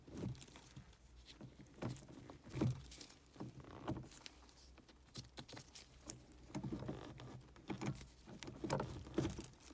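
Gloved fingers pinch, scratch and tap the folds of a black stitched leather or faux-leather gear stick boot on a car console. The result is a quiet run of soft, muffled taps, creaks and scratchy rustles, mostly low in tone, with a few sharper bursts.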